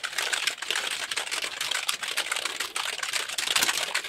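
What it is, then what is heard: Plastic computer keyboard. A hollow, full-size black plastic computer keyboard is held up in both hands and then raised overhead while fingertips press and tap its keys quickly. The result is a dense, continuous stream of rapid, bright plastic clicks and clatter with almost no low end.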